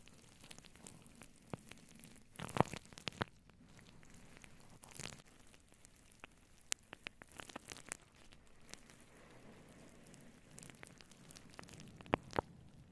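Both hands with long blue-painted nails scratch and rub a fluffy grey-white synthetic fur windscreen, a soft, hollow cover over a microphone. The result is a quiet, steady bed of crackly rustling with a low rumble, broken by sharper scratchy bursts and bright clicks, loudest around the third second and near the end.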